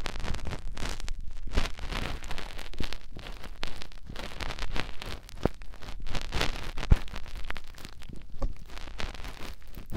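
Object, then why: Silicone ear of a binaural microphone. Fingertips with short nails rub the canal opening of a white, soft silicone ear mounted on a white binaural microphone body. The result is continuous close, muffled rubbing and scratchy rustling, heavy in low rumble, with occasional sharper crackles and clicks.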